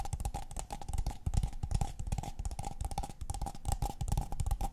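A tall, empty, hollow brown kraft paper cup held in the hands is tapped rapidly with long painted fingernails on its walls and rim. The taps are dry, dull, hollow knocks with a low-heavy body and almost no ring, over a faint steady mid-pitched tone. The result is a continuous, busy patter of quick clicks and thumps.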